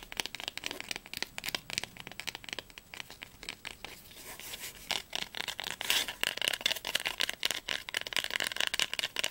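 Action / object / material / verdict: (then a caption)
tap / cloth-bound hardcover book spine / cloth / none. Long nails rapidly tap and scratch the spine of a small blue cloth-bound hardcover Heine volume. The sound is a dense run of crisp, bright clicks and dry scraping, mostly high-pitched with almost no low end. Each tap stops almost instantly with no ring.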